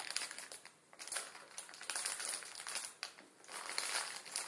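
A full plastic instant ramen packet, its plastic film wrapped around a dry noodle block, lies on a table and is pressed and crushed under the fingertips of both hands. Bright, dense crinkling and crackling of the film rises and falls in waves, with sharp snaps and almost no low end.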